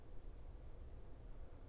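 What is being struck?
Nothing is struck.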